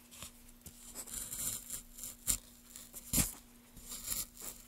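A gloved hand works a small gouge through the grooved surface of a solid pale wood block, carving and scraping. Quiet, bright, dry scraping strokes come at an uneven pace, with two sharper, louder cuts near the middle. A faint steady low hum sits underneath.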